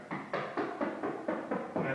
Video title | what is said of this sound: How To: Repair Plaster Walls | hear the difference right there and that's where the plaster is loose